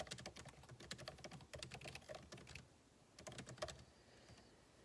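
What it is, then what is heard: Laptop keyboard being typed on. Fingertips type on a backlit MacBook Pro keyboard with plastic keycaps set in an aluminum body, producing rapid, light, clicky key taps. The taps come in quick bursts, pause briefly, return for a short flurry, and then trail off into near silence.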